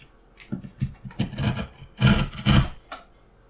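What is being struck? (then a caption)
Pine wood block under a steel gouge. A small steel gouge cuts and scrapes a carved flower design in a solid, hand-sized block of light pine wood held flat on a mat. It makes a series of short, irregular scraping strokes with a dry, low-heavy rasp and a bright hiss on top. The two strongest strokes come near the end, and each stroke dies away quickly.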